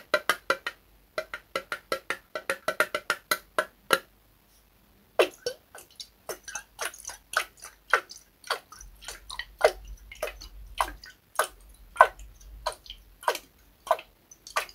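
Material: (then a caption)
Glass. A clear glass mason-style jar with a red metal lid, partly filled with water, is held sideways in both hands and shaken and tilted so the water sloshes inside. Quick, sharp sloshing knocks come in a fast run, stop for about a second, then return as slower, irregular splashes and clunks with a bright, glassy edge.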